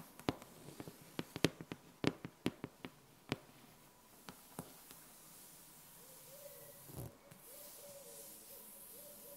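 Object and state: Laminated whiteboard.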